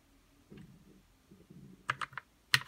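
A white 60% RK61 mechanical keyboard with plastic keycaps, lubed red linear switches, RGB backlight and a hollow case sits on a desk as fingertips type, pressing its keys. Soft low thocks lead into five sharp, bright clacks that stand apart, each dying away almost at once.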